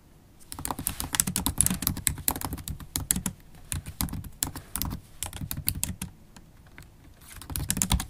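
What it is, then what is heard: Laptop keyboard typing. Long stiletto acrylic nails and fingertips type on a MacBook Pro laptop keyboard with low-profile black plastic keys in a silver aluminum body. The result is a rapid, steady run of short, bright clicks and taps with soft low thumps beneath them. The typing pauses briefly near the start and again around the six-second mark before resuming.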